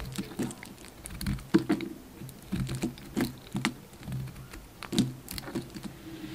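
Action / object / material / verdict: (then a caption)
scrape / bar of soap shaved with a blade / soap / none. A solid white bar soap with a blue rim is shaved with a utility knife blade, giving off crumbly flakes. The scraping comes as a run of soft, dry, crackly scratches and short taps, with a few louder crunches standing out. The sound is mostly low and muffled with little brightness.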